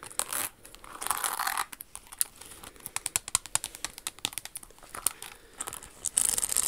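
Long acrylic nails tap and scratch the crystals on a single red Jimmy Choo high-heel pump covered in rhinestones, with a red crystal bow and a metallic red insole. Rapid, sharp, high-pitched clicks alternate with bright, raspy scratching bursts, and there is almost no low end.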